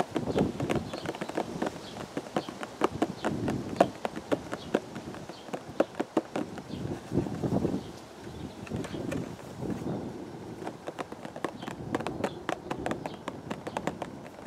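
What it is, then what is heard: Cardboard teacake box. Fingertips tap the faces and edges of a hollow purple cardboard teacake box held at the chest, making a long run of quick, dry, papery taps. The taps come in uneven clusters with short, soft swells of low rumble between them.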